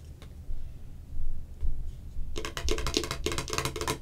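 Long acrylic nails tap and scratch the ridged sides of a clear, hollow, hand-sized plastic can-shaped Cherry Coke container held in both hands. A soft low rumble with a few faint ticks comes first, then a fast run of sharp, bright plastic clicks and scratchy taps that die away almost at once.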